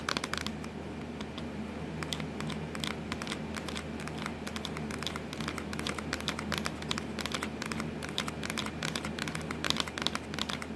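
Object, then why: Plastic laptop lid. Long acrylic nails tap and scratch rapidly across the hollow black textured plastic lid of a Dell laptop with a logo. The result is a dense run of short, dry, bright clicks and scratchy rasps over a steady low hum, with almost no ring after each tap.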